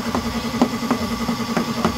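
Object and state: Nothing is struck.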